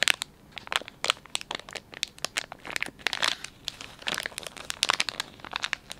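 Fingers squeeze and crinkle the soft plastic film of a filled, palm-sized Dettol wet wipes pouch. The result is a steady run of sharp, bright crackles and crinkles in quick irregular bursts, with almost no low end, over about six seconds.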